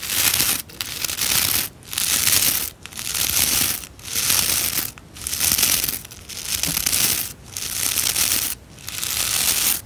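Fingertips strum and scratch the stiff bristle tips of a white plastic scrub brush with rows of bristles. The result is about nine separate bursts of bright, high, hissy scratching, each lasting roughly a second, with short quiet gaps between them.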